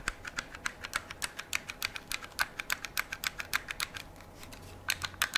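Fingertips and nails tap and click along the metal receiver of a hand-held AR-style metal and polymer rifle. About thirty quick, dry, bright clicks come in an uneven rhythm with almost no ring, pause briefly near the end, then resume.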